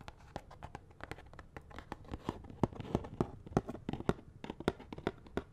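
Fingernails scratch and tap on a small, hollow cardboard box of latex gloves with the gloves inside. A rapid, irregular series of short, dry taps with a hollow low-mid body stands out over a soft, scratchy rustle, each tap dying away almost instantly.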